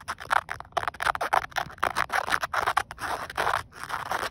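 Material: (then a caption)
Polyester. Green-painted fingernails scratch back and forth across a grey woven polyester car seatbelt strap, a flat fabric band. It makes a rapid series of short, dry, raspy scratching strokes centred in the mids with a brushy texture. The strokes have almost no low end and stop dead between bursts.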